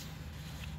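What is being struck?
Nothing is struck.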